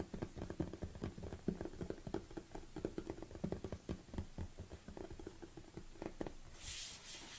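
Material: Plastic.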